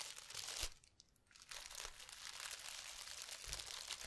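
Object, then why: Plastic package of metallic tinsel. A clear plastic package full of red metallic tinsel strands, topped by a red cardboard header card, is held up and crinkled and squeezed by a hand with long red nails. Bright, dense crinkling and crunching fills the clip, with a short quiet pause near the first second before the rustling returns and carries on steadily to the end.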